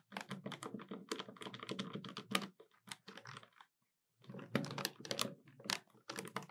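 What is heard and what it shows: Long nails tap rapidly on the keys of a hollow black plastic desktop calculator, making quick, dry, bright clicks. The tapping runs in fast bursts, pauses for about half a second near the middle, then resumes.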